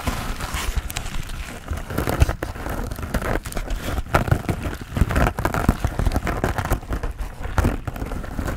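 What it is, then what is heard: Foam sponge scratched. Fingernails scratch the surface of a hand-sized grey textured foam sponge on a tan foam base, solid and porous, held in both hands. The result is a steady, dense, crackly rustling with a muffled, low-heavy tone and frequent small bursts throughout.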